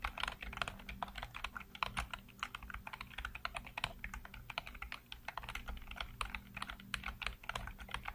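Fingertips type rapidly across a full-size black plastic computer keyboard with hollow keycaps. The result is a dense, uneven stream of short, bright, clacking taps that die away almost instantly, over a faint steady low hum.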